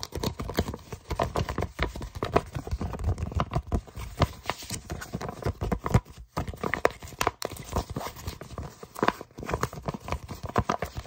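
A small brown kraft paper envelope with a tape strip, flat and empty, is tapped and scratched with short fingernails and fingertips. Rapid, dry taps mix with papery scratching and crinkling, with a soft, low thump under many of the strikes and a brief pause near the middle.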